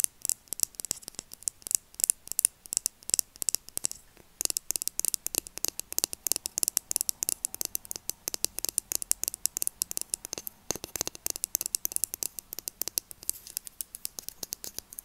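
Long nails tap and scratch a slim red Nature Republic plastic lip crayon, its hollow cap and body held in both hands. A fast, steady stream of dry, bright plastic clicks and scratchy ticks plays with almost no low end, pausing briefly just after four seconds before continuing.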